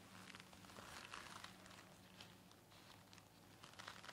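A white folded KN95 respirator of stiff multilayer nonwoven fabric, worn on the face, is scratched and tapped with the long nails of both hands. The result is a quiet, steady stream of dry crinkling and scratching with irregular brighter taps, over a faint low hum.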